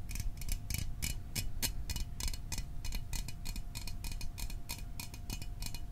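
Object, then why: Small aluminium drink can. Fingernails tap quickly on the top and sides of a small, hollow Fanta orange aluminium drink can held in the hands. The result is a rapid, even run of short, bright, clicky ticks, like a ticking clock, over a steady low rumble and a faint constant hum.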